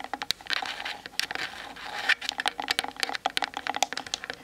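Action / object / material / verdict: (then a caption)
tap / plastic camera body / plastic / none. Long nails tap rapidly on the sides of a Canon DSLR's plastic body, making dry, bright clicks that stop instantly with no ring. Short stretches of scratchy rubbing blend in between the quicker bursts of taps.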